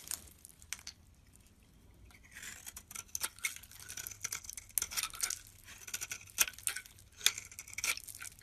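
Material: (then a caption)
Soap. A utility knife blade scrapes and shaves the face of a yellow rectangular bar of solid soap held in the palm. After a quiet start, bright, crisp scraping strokes come in irregular bursts with sharp, dry clicks. There is almost no low end and no ring after each stroke.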